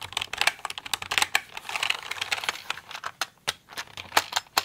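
Fingernailed fingers type on and tap the keycaps of a pink plastic mechanical computer keyboard. Rapid, uneven bright clacks and clicks follow one another with short pauses, each dying away almost instantly with no low rumble.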